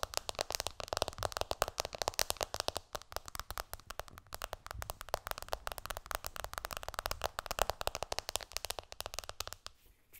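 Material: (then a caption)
Glass. Long, dark-painted nails tap quickly on the glass screen of an iPhone lying flat, screen up, on a cushion. Dozens of short, crisp clicks follow one another steadily, each with a bright, dry tick and almost no ring. The tapping runs nearly the whole clip and then drops away just before the end.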